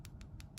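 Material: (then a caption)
Acrylic. Hardened, dry acrylic set in a plastic nail form is tapped, giving a few quick, light, dry clicks over a low background rumble. The tapping sound shows the acrylic has set hard and the form is ready to remove by squeezing its sides so it lifts off.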